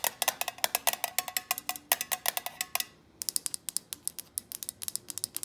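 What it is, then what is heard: Glass candle jar with lid. Long painted nails and fingertips tap a glass jar candle filled with solid wax, with a printed paper label and a black lid, striking both the lid and the glass sides. A rapid run of short, bright, clicking taps with a faint glassy ring, a brief pause near the middle, then more quick taps.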